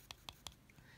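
An air-dry clay pumpkin sculpture that has dried for a couple of days and turned pale grey, with its thick parts really hard, is tapped three times. Each tap gives a short, dry click that dies away almost at once. The hard, clicky sound shows the clay is dry.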